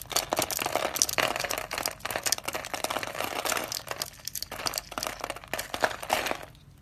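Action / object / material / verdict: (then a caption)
scrape / soap bar cut with a knife blade / soap / none. A utility knife blade scrapes through a bright green, solid, hand-sized dry soap bar that is pre-scored in a grid, crunching off cubes. Dense, dry crunching and crinkling scrapes with bright, brittle snaps run almost continuously before quieting at the very end.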